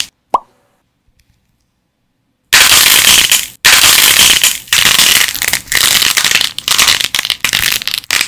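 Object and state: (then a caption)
Nail-polish-coated dried clay figure cracking apart. A clay mole from a homemade whack-a-mole game, coated twice with nail polish and dried for 24 hours, is broken apart. A short plop is followed by silence, then from about 2.5 seconds on a dense, bright crunchy crackling with many rapid sharp onsets and brief dips.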